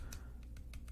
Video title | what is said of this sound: BF yaps and taps you to sleep [m4a] [ASMR] [soft spoken] [rambling] [tapping] [anime] [games] | I'm currently tapping on my handheld mirror. I might have said that already,